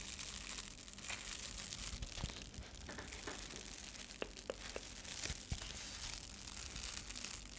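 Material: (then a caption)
Metallic foil. A flat, thin, flexible metallic foil insulated bubble mailer bag is scratched and tapped with long nails and fingertips. It makes a steady bright, crinkly scratching texture over a low hum, with several sharp, short taps standing out along the way.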